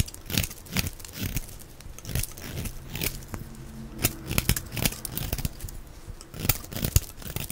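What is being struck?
Bar soap scraped with a knife blade.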